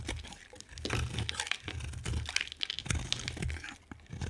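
A solid oval yellow bar of soap is carved and scraped with a metal knife blade, cutting shavings and cubes from its surface. Many short, crisp crunching and scraping strokes follow one another closely, with bright, crackly edges over a low, dull thud beneath.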